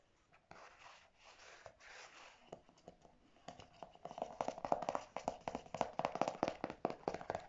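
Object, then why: Plastic squeeze tube of conditioner. Natural fingernails scratch and then tap on a pink, squeezable plastic tube of Marc Anthony Grow Long conditioner with a clear cap, about 20 cm long and apparently full, lying on a grey fabric surface. Soft, uneven scratching and sparse clicks in the first half give way to a rapid, irregular run of short, dry taps with a hollow mid-pitched plastic tone. The taps grow louder and denser toward the end.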